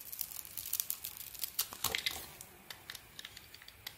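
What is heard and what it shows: A small metal blade scrapes and shaves strips of red coating off a solid, palm-sized bar of soap with a cream-coloured inside, held in one hand. Dense, bright, crisp scraping and crackling peaks in the first two seconds, then thins to sparse, sharp ticks over a quiet background.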